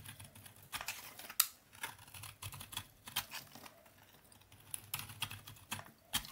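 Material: Soap.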